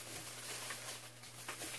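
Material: Nothing is struck.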